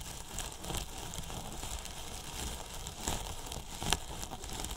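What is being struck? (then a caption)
Polyethylene foam box scratched with thin paintbrushes. Two thin paintbrushes brush and scratch the top edge of a large, hollow, white polyethylene foam box with a microphone inside. The result is a steady, dense crackling and rustling texture with a full low body and airy, bright hiss. Sharper scratches stand out near the three- and four-second marks.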